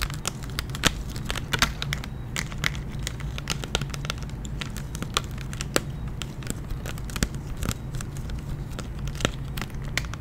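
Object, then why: Clear plastic blister pack on a cardboard card. A hand-sized clear plastic blister pack holding a giant gummy bear lollipop on a printed cardboard backing card is held in one hand and tapped and scratched with long painted nails. Rapid, sharp crinkling clicks and taps with bright crackle run throughout over a steady low hum.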